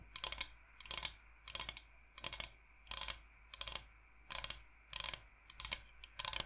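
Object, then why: Flat bamboo cutting board. Long nails tap on a large, flat, solid bamboo cutting board shaped like the state of Michigan. Quick clusters of sharp, bright clicks come in short bursts about every half second to second, each dying away almost instantly against a faint low hum.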